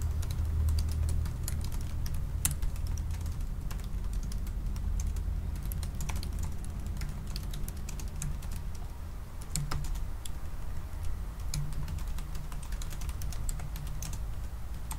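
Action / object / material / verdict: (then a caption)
tap / laptop keyboard with plastic keys in an aluminium body / plastic / none. Fingertips of both hands type fast on a silver aluminium laptop keyboard with black plastic keys. A rapid, steady stream of light, bright plastic clicks and taps is heard over a constant low hum.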